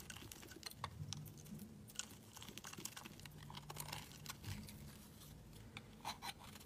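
A solid lilac rectangular bar of soap is held in hand while its edges are shaved and scraped with a utility knife blade. Quiet, dry, crisp scraping and flaking sounds come in rapid bursts, bright and crackly against a low hum.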